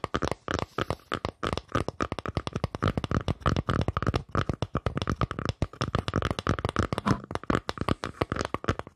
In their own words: ASMR Tapping on Wood